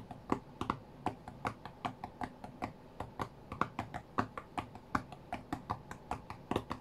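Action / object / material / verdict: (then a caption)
tap / tablet with a glass touchscreen / glass / none. Fingertips and nails tap the glass touchscreen of an iPad tablet lying flat on a cutting mat, striking in fast bursts. About 33 short, dry, clicky taps with no ring sound at a quiet level, with a mid-pitched tick and an uneven rhythm.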